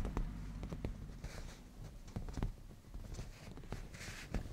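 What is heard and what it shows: Fingertips and black-painted natural nails of both hands tap and scratch on a padded black grained leather cushion. The result is a quiet, muffled stream of low, dull thumps with short, dry brushing scrapes between them.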